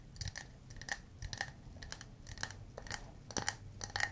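A small hollow wooden cup is held and tapped around its sides with fingernails and fingertips, giving quick, crisp clicks. Each tap has a short, bright ring near 1.9 kHz over a soft low thump, and the taps come at an irregular pace, some sharper and louder than others.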